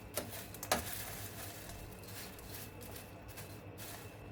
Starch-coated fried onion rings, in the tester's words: هتسمعوا بقى كمان صوت القرمشة دلوقتي وهتشوفوه عامل ازاي